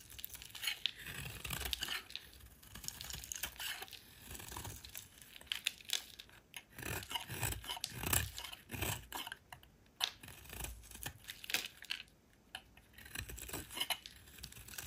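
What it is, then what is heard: Soap bar being shaved. A solid oval green soap bar held in the hand is shaved with a metal utility knife blade into curled shavings. It gives a steady run of crisp, bright scraping and rasping strokes with faint low thuds underneath. The strokes come quickly and overlap, each cutting off almost at once.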